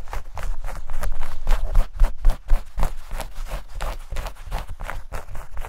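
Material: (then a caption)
Denim. Long nails rapidly scratch and rub a pair of denim shorts held close to the mic. Quick, rhythmic strokes of about four per second produce dense, rough fabric scratching over a heavy low rumble.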